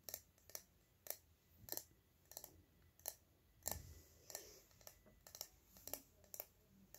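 Fingernails tap slowly on a small, hollow, cylindrical silver spray bottle with a ridged cap, striking both the body and the cap. About fourteen short, bright clicks sound with brief gaps between them, each dying away almost at once, over a quiet background.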